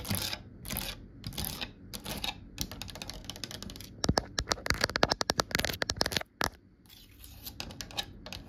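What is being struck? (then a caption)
Varnished grooved wooden cabinet door panel. Long nail tips tap rapidly across a solid, varnished, grooved wooden cabinet door panel. Soft, breathy bursts of scraping give way to dense, crisp clicking taps with bright, short-lived clatter. The tapping then stops abruptly, leaving faint, quiet rustling.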